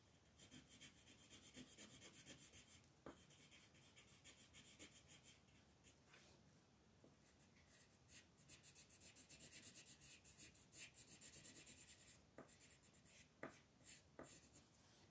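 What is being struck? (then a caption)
Wooden colored pencil on paper sheet. A dark green wooden colored pencil colors the green leaf shapes of a mandala printed on a large, flat sheet of thin white paper lying on a table, while the other hand holds the page flat. Short, quiet rubbing and scratching strokes make a bright, papery rasp in bursts with brief pauses. A few sharper ticks stand out as the pencil strikes the page.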